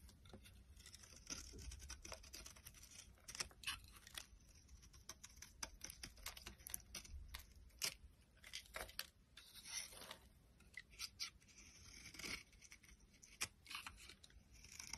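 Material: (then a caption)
Soap. A box cutter blade shaves fine flakes off a solid yellow bar of soap held in the hand. Quiet, bright, crisp scraping and tearing strokes come in quick, irregular bursts, with a faint low rumble beneath.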